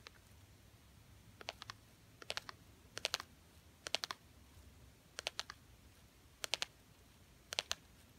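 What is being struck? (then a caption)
Small thin plastic butterfly ornament. Long painted nails tap and scratch a small, thin, solid gold glitter-coated plastic butterfly ornament on a Christmas tree. Quiet, bright, clicky taps come in short bursts of two to four quick hits, each dying out instantly with no ring. The bursts are separated by near-silence.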